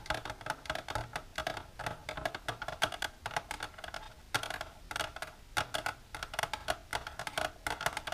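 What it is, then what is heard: Plastic container tapped with nails. Long natural nails with silver polish tap continuously on a plastic container. The result is a rapid run of short, dry clicks with a hollow midrange tone near 630 Hz and bright ticking edges, each tap fading almost instantly.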